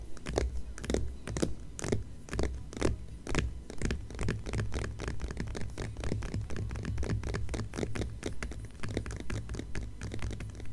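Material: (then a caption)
Paper. Long fingernails on both hands scratch rapidly over the glossy paper cover of a closed Departures magazine. The result is a quick, uneven run of short, bright scratching strokes over a steady low hum.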